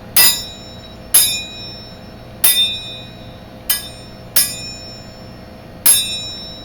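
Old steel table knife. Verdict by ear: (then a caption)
Good steel. Antique silver-plated steel table knives are struck one after another, giving six sharp, bright metallic rings with high, bell-like tones that fade over a fraction of a second. The clear ring marks them as good steel.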